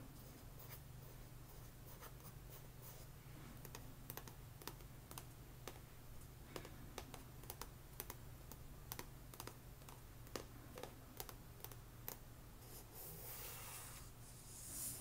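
Long nails tap and scratch rapidly along the glossy card spine of a solid paperback book held sideways, making a quick run of sharp, bright clicks that die away almost instantly. A steady low hum sits underneath, and near the end the tapping gives way to a louder, brighter scratching rub.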